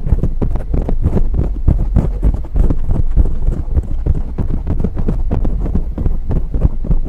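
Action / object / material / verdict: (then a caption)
scrape / foam microphone windscreen / foam / none. Fingertips and long nails of both hands rapidly scratch and tap a dark grey foam windscreen on a silver microphone. The result is a dense, continuous stream of muffled, boomy thumps and rustles, almost entirely deep low-end with no brightness. Each tap dies away instantly.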